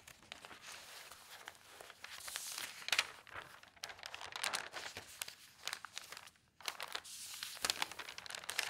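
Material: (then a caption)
Paper. An open tabloid newspaper of thin newsprint lies flat on a table while a hand with long painted nails turns and smooths its pages. Bright, dense rustling and crinkling rise and fall in soft bursts, with a few sharper crackles and a brief quiet gap near the end.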